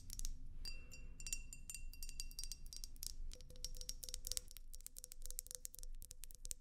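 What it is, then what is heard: Glass vase. A tall, slim, clear glass vase, hollow and empty, is held in one hand and tapped with long acrylic nails. Quick, bright clinking taps come in dense bursts, with short ringing tones over a low background rumble.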